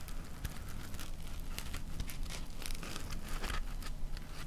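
Long nails scratch and rub a solid, hand-sized, layered block of white polyethylene packing foam. The result is a steady stream of crinkly, crackling scratches, with brief bright ticks over a dense low rumble.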